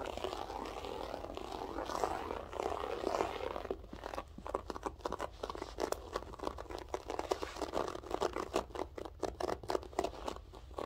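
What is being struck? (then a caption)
Loop-pile carpet. Long nails scratch across a grey loop-pile berber carpet up close, first as a steady rough rubbing for about four seconds, then as a rapid run of dry, crinkly taps and plucks on the loops. A faint voice may be present in the background.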